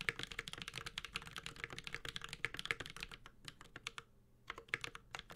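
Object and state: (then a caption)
Mechanical keyboard with plastic keycaps and metal case. A Space65 Cybervoyager, a 65% mechanical keyboard with a metal case, Holy Panda switches and ABS plastic keycaps, is typed on continuously with the fingertips of both hands. Rapid, bright, clacky keystrokes with a very short decay overlap in a steady stream, centered around 1.7 kHz, with a brief lull near the four-second mark before typing resumes.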